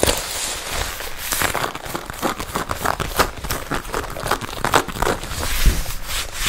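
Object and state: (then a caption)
Leather jacket. A worn red leather jacket sleeve is held out and tapped and scratched with long red nails. The result is a dense run of dry taps and crinkly, scratchy rustling that rises and falls steadily over about six seconds.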